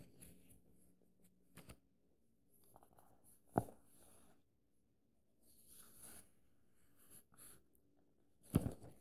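An index fingertip traces along the lines of text on the paper pages of an open paperback book, making a soft, quiet rustling and brushing. Sharp, short taps on the page stand out, with the strongest near the middle and at the end.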